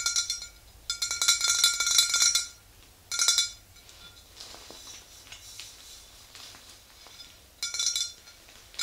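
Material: Glass.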